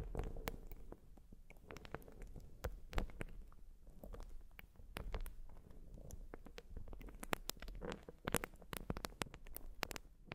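Long nails scratch a white, porous urethane foam sponge, producing soft, dry scratching and crackly clicks over a quiet, muffled low rumble. Brief bright ticks keep recurring at an uneven pace throughout, with no ring after each one.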